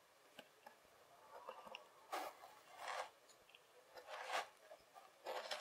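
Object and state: Kinetic sand.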